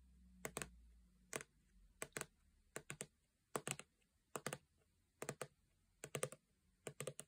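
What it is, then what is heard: Plastic lotion bottle tapped with fingernails. A full-looking 400 ml gold plastic body lotion bottle, held upright, is tapped with long painted nails. About 22 quiet, dry clicks with a bright edge and a hollow tone near 430 Hz come in loose, irregular clusters of two to four. Each tap dies away almost at once.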